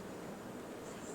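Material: Nothing is struck.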